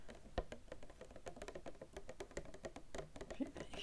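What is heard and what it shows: Long nails tap quickly on a small white-and-red cardboard product box, likely hollow, held at arm's length in one hand. The result is a fast, dry patter of soft, short clicks with a hollow low thump. One sharper tap stands out near the start.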